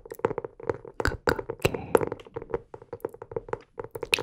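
Fingertips tap the cover of a blue hardcover notebook held upright, giving about a dozen light, dry taps in an uneven rhythm. Each tap has a hollow, mid-pitched knock around 460 Hz with some brighter clicks, and it dies away almost instantly.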